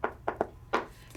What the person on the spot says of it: because when you knock it, it sounds like a door